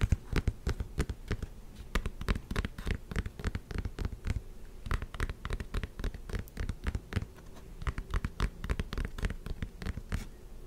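Long painted nails scratch rapidly along the knit mesh upper and thick white foam midsole of a black Hoka running shoe, held hollow and empty in one hand. A dense run of short, dull, low-pitched scrapes and taps continues for about ten seconds, with almost no ring after each stroke.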